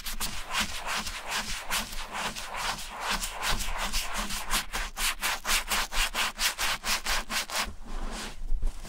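A vintage Gucci small brown leather bifold wallet, lying flat on a grey towel, is scrubbed in circular strokes with a wooden-handled bristle brush through shampoo foam. The result is a steady run of rapid, rhythmic bristly swishes, each a bright, hissing rub over a soft low rumble, repeating about twice a second.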